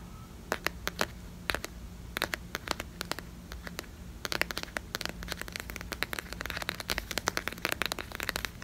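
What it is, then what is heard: Plastic squeeze tube. A small, filled yellow Pantene plastic squeeze tube is held close to the mic and tapped and scratched with long fingernails. Sharp, bright clicks and crackly scratches come in scattered bursts at first, then grow dense and near-continuous in the second half over a faint low hum.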